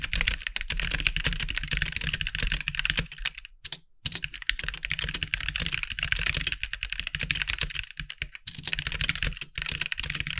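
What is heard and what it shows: Fingertips of both hands type quickly on a compact backlit mechanical keyboard with white plastic keycaps, producing a dense stream of sharp, bright clacks centered around 2.5 kHz with a soft low thump beneath. The clicks are short and dry, and the typing pauses briefly near the four-second mark before continuing steadily to the end.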